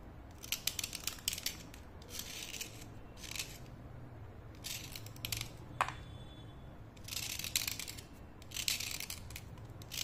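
A thin, solid white-grey slate pencil, held in fingers with long yellow-painted nails, is scraped along its length with a utility knife blade, with dust falling onto a white plate. Bursts of bright, gritty scraping come in repeated strokes, separated by short quiet gaps over a faint low hum.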